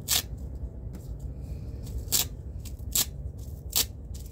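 A thin black nylon belt with six velcro (hook-and-loop) strips is held in both hands while fingertips press and peel the straps apart. Short, bright ripping and scratching bursts stand out at irregular intervals over a steady low rumble, with softer scratches in between.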